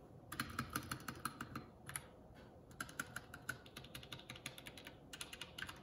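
A Keycool K84 75% mechanical keyboard with plastic keycaps is tapped with one index fingertip, pressing single keys and the spacebar one at a time. Short, dry, bright clacks with a low thock come in uneven bursts, with a brief pause before the tapping resumes. Each keystroke is quiet and dies away almost instantly.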